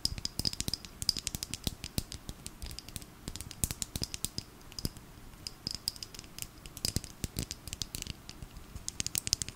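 A small clear plastic bottle filled with purple glitter liquid and topped with a pink cap is held in the hand and tapped and scratched with long nails. Dense, quick, dry clicks and scratches run throughout, bright and crisp with a faint high ringing tone and a soft low thump under each tap.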